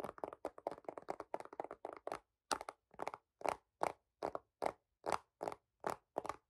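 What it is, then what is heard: Plastic phone case. A dark green hard plastic phone case with a white marble-pattern popsocket, fitted on a phone and held in both hands, is tapped and scratched with fingertips and short nails. Quick, flat, hollow taps and crunchy scrapes come in uneven bursts, packed closely at first and then more spaced out. The sound sits mostly in the midrange, around 670 Hz, with almost no low end.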